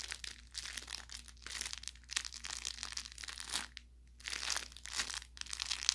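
An orange velour fabric carrot cat toy, about 25 cm long and soft-stuffed with crinkle filling, is squeezed and pressed by fingertips and thumbs along its seams. It makes bursts of bright, high crinkling and crackling with short pops, separated by brief quiet pauses over a faint low hum.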